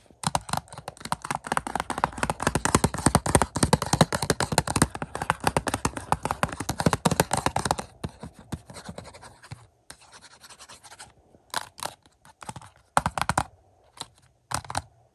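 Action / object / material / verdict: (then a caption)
tap / plastic Blu-ray case / plastic / none. Fingertips and nails tap and scratch the front of a hollow plastic 4K UHD Blu-ray movie case for Used Cars lying on a stack. For about eight seconds there is a fast, irregular run of short, dry clicks and scratches, each with a low hollow thump and a bright scraping edge. The tapping then thins into quieter, sparser scratches broken by a few short bursts near the end.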